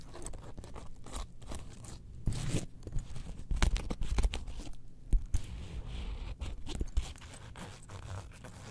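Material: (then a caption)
Faux leather. Long fingernails scratch the inner panels of a small zip wallet opened to its orange faux leather interior, which has a clear ID window and an attached keyring. The result is a soft, low-heavy, crinkly scratching and rustling, dotted with sharper crunchy clicks and brief scrapes that die away at once.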